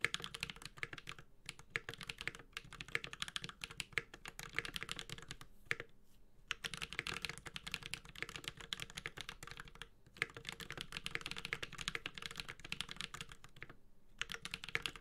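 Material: Aluminium, plastic.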